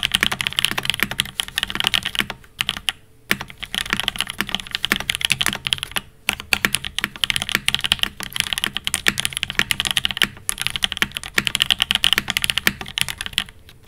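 An 80% mechanical keyboard with a silver aluminum case and cream, black and pink ABS keycaps sits on a desk mat and is typed on rapidly with the fingertips of both hands. The result is a dense, continuous run of short, bright key clacks with almost no low end and very little ring, broken by a few brief pauses.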